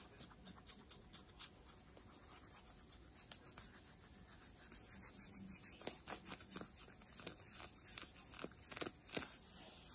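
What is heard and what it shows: Long nails scratch the fabric of ripped denim jeans over the knee, near the rip. Quick, bright, dry scratching strokes repeat in a fast rhythm, with soft rubbing between them. The sound is quiet and mostly high, with little low end.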